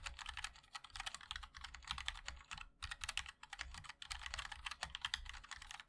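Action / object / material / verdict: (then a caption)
tap / mechanical keyboard, metal case with plastic keycaps / aluminium, plastic / none. Continuous fast typing on a 60% mechanical keyboard with linear switches, a black aluminium case and white and black ABS keycaps, struck by the fingertips of both hands. Dense, quick, bright clacky key taps overlap in a steady run with very short ring, over a low thud from the case.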